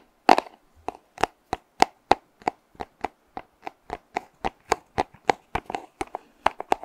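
A small, hollow, purple printed cardboard box is held close to the microphone and tapped with fingernails. About 24 sharp, dry taps come in a steady irregular rhythm, each with a hollow knock near 780 Hz that dies away almost instantly.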